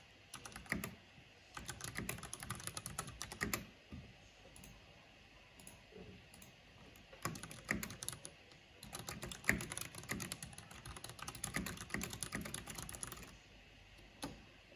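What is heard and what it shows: Fingertips and long nails type on a black plastic mechanical keyboard with a purple backlight, producing quick bursts of crisp, bright key clicks. The clicks come in fast runs separated by short quiet pauses.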